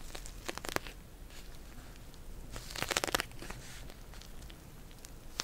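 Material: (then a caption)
Plastic. Long nails tap and scratch a pink plastic gel bead cold pack held in both hands. Quiet crinkly rustling is broken by sharp, bright clicking taps, with a dense cluster near the middle and a last crisp tap at the end.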